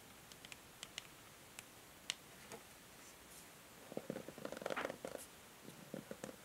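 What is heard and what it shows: Long nails tap and scratch a medium hollow plastic paddle hair brush, out of its packaging, with a grey matte back and white-and-pink plastic pins, first on the back and then on the bristle side. Sparse, sharp, bright clicks give way to a denser, quiet patter of scratchy taps with a hollow midrange tone.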